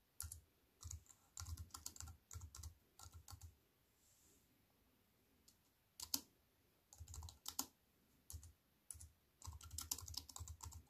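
Fingertips with long nails type on a compact wireless keyboard with black plastic keys in a thin silver aluminium frame, resting on a wooden table. Bursts of quick, bright clicky taps with soft low thumps come in irregular runs. The typing pauses briefly around the middle and again near the end.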